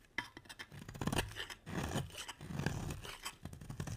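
A metal utility blade scrapes across a solid, round, red-striped bar of soap, shaving it so the curls pile up. The sound is a continuous run of dry, crackly scraping strokes, with a soft low rasp and bright gritty edges.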